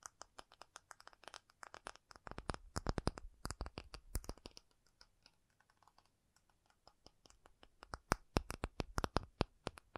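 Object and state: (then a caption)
Acrylic surface. An acrylic object is tapped in quick, dry, clicky bursts, each tap dying away almost instantly. The tapping is dense at first, thins to soft, sparse taps in the middle, and then picks up again with sharper, louder strikes toward the end.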